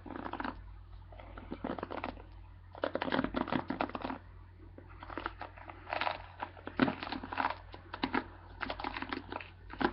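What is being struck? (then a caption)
Plastic paddle hairbrush bristles. Fingertips brush and scratch across the many plastic bristles of a black plastic paddle hairbrush held in one hand. The result is bursts of dry, crackly scratching and crinkling, bright but soft and close, separated by brief quieter pauses. A steady low hum runs underneath throughout.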